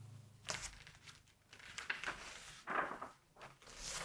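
Fingertips turn a glossy page of a large, open September 1986 Vogue magazine and smooth it flat, rubbing the paper. Soft, bright rustles and crinkles rise and fall, with a louder crackling swish as the page turns over, all at a quiet level.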